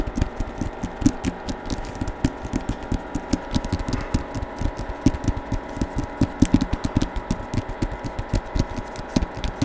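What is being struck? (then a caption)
Hardcover book with paper jacket. Fingertips tap quickly and irregularly on the front cover of a Star Wars hardcover book with a paper jacket, held in both hands close to a microphone. The taps are dull, low-heavy thumps that die away almost instantly, with soft papery rustle between them.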